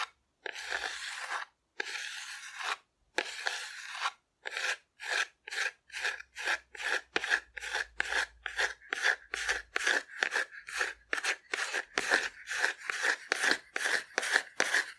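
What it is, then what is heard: Cardboard dinosaur figure being scratched. Long nails scratch and rub a hollow painted cardboard dinosaur figure held sideways. Three slow, drawn-out rasping strokes give way to a quick, steady run of short, dry scratches with a bright, papery hiss, each stopping abruptly.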